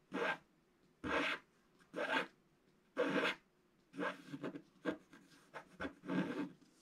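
A wooden stylus scratches the black coating off a flat sheet of scratch-art paper in about ten short, rasping strokes. The first strokes are evenly spaced, and the later ones come quicker and closer together. Each stroke is a dry, bright scraping sound that stops quickly.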